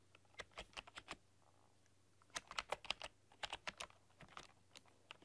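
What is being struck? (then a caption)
Plastic computer keyboard. A full-size plastic computer keyboard with black keycaps and a rainbow RGB backlight is typed on with long dark-polished nails and fingertips. Bursts of short, bright key clicks and taps come in quick uneven clusters, separated by pauses, over a faint low hum.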